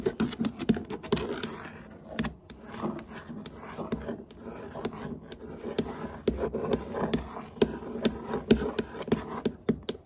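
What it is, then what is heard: Wooden floor (nail tapping and scratching). Long nails tap and scratch across solid hardwood floorboards, one finger at a time. Short, dry clicks come in quick, irregular bursts over a soft, continuous scraping rustle. Each tap dies away almost at once.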